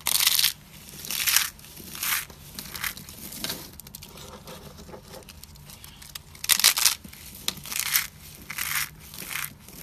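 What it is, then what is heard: Dry soap flakes. Bare fingertips and palms squeeze and crush handfuls of brittle, dry pink and white soap shavings piled on a white surface. Bright, dry crunching and crackling comes in loud bursts, separated by quieter stretches of faint rustling.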